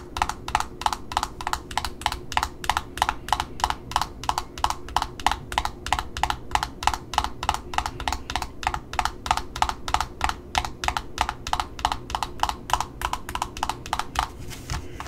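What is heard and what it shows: Long metallic nails tap and scratch the paper price sticker on the cardboard disc of a Simplicity ribbon spool, seen up close. About sixty quick, dry taps come in a fast, uneven run, each a short hollow knock with a mid-pitched body and a bright clicky edge that dies almost instantly. A faint low rumble sits underneath the whole time.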